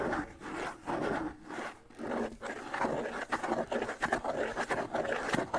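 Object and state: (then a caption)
Bongo drum head scratched. Fingertips and nails scratch the stretched skin head of a small hollow hand bongo with a wooden shell, held in the hands close to the mic. Dry, papery scraping comes in uneven bursts, mostly in the midrange, with a faint low tone from the drum.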